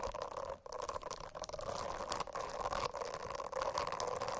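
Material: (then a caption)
Silicone. Long acrylic nails scratch at the edges of the dense small bristles on a rainbow-striped silicone notebook cover. The result is a steady, soft, crackly scratching with a wet, pouring-like texture and a humming tone around 500 Hz and 1 kHz. It briefly drops out just after half a second.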